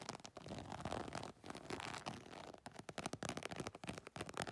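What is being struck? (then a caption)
Embossed faux leather cosmetic bag. Long nails scratch quickly across the scaled, embossed texture of an iridescent holographic faux leather cosmetic makeup bag. The result is a dense, crackly rasp of rapid, short strokes with bright, papery edges and little low end.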